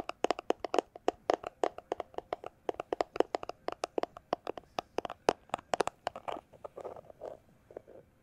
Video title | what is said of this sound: ASMR Tapping Sounds With Cyberpunk 2077 Background | it's a plastic glasses holder case